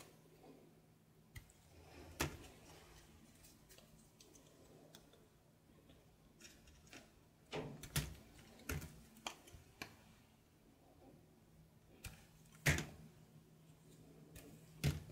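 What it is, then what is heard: Soap bar being shaved with a knife. A knife shaves curls off a grey soap bar held in the hand, making short, crisp scraping cuts that flash bright and then stop quickly. The cuts come at irregular intervals, some in quick clusters, over a quiet background with a faint steady low hum.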